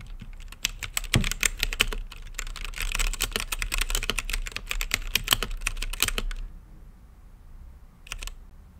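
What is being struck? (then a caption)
Plastic mechanical keyboard. Fingertips type on a mechanical keyboard with plastic keycaps and a clear acrylic lit case, producing a fast, irregular stream of sharp, bright clacks with a dull low thump beneath each stroke. The typing runs steadily for about six seconds, stops into near silence, then returns as a brief flurry of a few keystrokes near the end.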